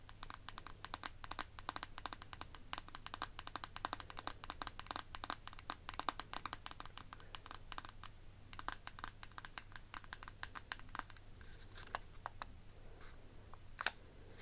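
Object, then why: Clear plastic eyeshadow palette case. Fingertips and nails rapidly tap and scratch the faceted lid of a small, rectangular, hollow, clear faceted plastic eyeshadow palette case held in both hands. The result is a dense run of sharp, bright plastic clicks with almost no ring, mixed with light scratchy rasps over a steady low hum. The taps thin out and grow sparser near the end.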